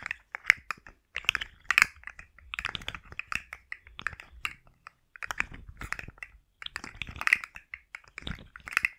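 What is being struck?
Plastic articulated slug fidget toy.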